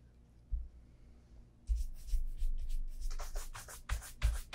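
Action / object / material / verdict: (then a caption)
scrape / leather dress shoe / leather / none. A brown leather Vass Austerity Brogue oxford shoe, held in hand, is brushed with a bristle brush along the upper and the welt near the leather sole. After a few soft low bumps, rapid brushing begins: quick, bright, scratchy swishes, each stroke with a dull low thud of the handled shoe.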